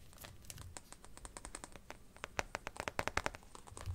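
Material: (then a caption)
Plastic. Fingernails tap and scratch the back of an empty white marble-pattern hard plastic phone case with a black rim, lying on a blanket. Quick, dry, clicky taps with a faint scratchy hiss start soft and grow sharper and louder toward the middle, with a low rumble at the end. Each tap stops almost instantly, leaving no ring.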